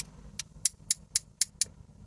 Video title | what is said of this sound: ASMR + Voice - Let's unbag some Costume Jewellery: Brooches and Scarf clips | We got an almost moonstone like stone there, but it sounds like glass.